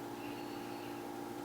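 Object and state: Nothing is struck.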